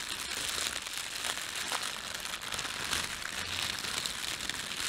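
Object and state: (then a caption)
Plastic bread bag crinkling. Fingertips crumple a thin red printed plastic bread bag, then pull the film taut. A continuous bright, crisp crinkling runs throughout at a steady level, with fine crackles and almost no low end.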